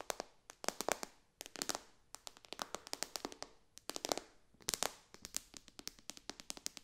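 Long dark fingernails tap quickly across the glass touchscreen of a white iPad lying flat in its case. The result is a quiet, rapid run of dozens of sharp, bright clicks in uneven bursts, each dying away almost instantly with almost no low end.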